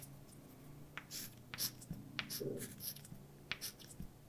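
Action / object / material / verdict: scrape / chalk on a slate blackboard / chalk / none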